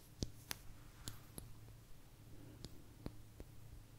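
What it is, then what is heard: Agate slice tapped with fingernails. A small, thin, solid blue agate slice is tapped with long nails, giving six quiet, sharp clicks with bright, glassy highs. Each tap dies away almost instantly over a steady low hum.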